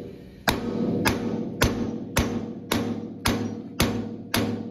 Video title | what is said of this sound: Valve Seats | you heard it when it went to the bottom, you heard it, it was solid